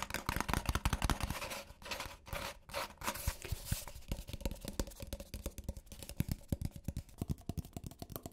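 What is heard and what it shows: A hollow white Starbucks paper cup with a plastic lid, held in one hand, is tapped and scratched rapidly on its side with fingertips and nails. Dense, quick, dry taps with a dull, low hollow thump run throughout, broken by bursts of scratchy, brushing rustle. The taps are short and die away almost instantly.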